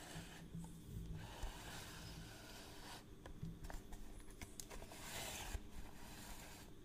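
Fingertips and nails rub and scratch the face and rim of a hollow, palm-sized, round cream plastic reel case of a long measuring tape with a black crank handle, held in one hand. The scratching comes as a soft, steady, dry rasp over a low rumble, with brief brighter scrapes and small clicks scattered throughout.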